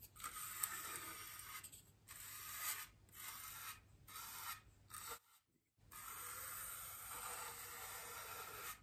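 A bristle paintbrush with a wooden handle is brushed across the surface of a large, solid white polystyrene foam wreath ring while the other hand rests on the ring. The result is a series of dry, bright, scratchy swishing strokes separated by short pauses, with one near-silent gap before a longer final stroke.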